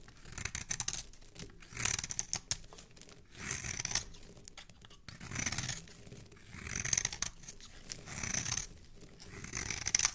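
A metal blade scrapes and carves a hand-sized solid soap bar, gray outside with yellow marks and red inside, held in one hand, peeling off red soap shavings while a second scented bar sits untouched. Bright, crisp scraping and shaving sounds come in repeated strokes, each a rustly burst with a soft low thud beneath. Quiet pauses fall between the strokes.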